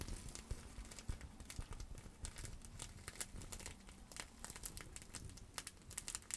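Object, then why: Plastic bubble wrap pouch. A clear plastic bubble wrap pouch is scrunched and scratched with long acrylic nails. It makes a steady, quiet crinkling with many sharp little clicks and crackles, bright on top over a soft low rustle.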